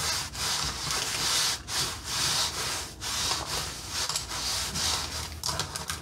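A red painted wooden accordion peg rack with knob pegs is collapsed and expanded by hand. Its slats rub and scrape together in repeated bright, hissy swells, with a few small nail taps mixed in.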